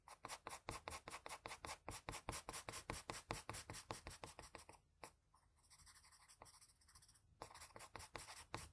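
A blue-and-white wooden graphite pencil makes rapid, repeated short scratching strokes across the face of a flat sheet of drawing paper, each stroke a crisp, bright scrape. Around the middle the strokes give way to a softer, quieter continuous rubbing for about two seconds before the quick scratching resumes.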